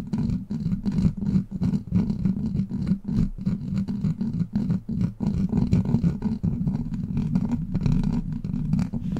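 Long black plastic claw nails scratch and tap a hollow steel mesh microphone grille, making a dense run of quick, uneven rasping scrapes and taps. The sound is heavy in the low end with a steady hum-like tone around 220 Hz, brief dips between strokes, and very little high brightness.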